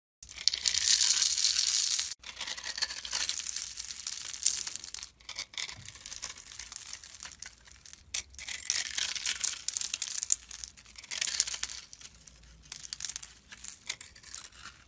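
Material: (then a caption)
Soap. A solid golden-yellow bar of soap held in the hand is shaved and scraped with a metal utility blade, coming away in crumbly flakes. The sound is a run of dry, bright, crackling scraping strokes with a crisp tearing texture, broken by brief pauses between passes of the blade.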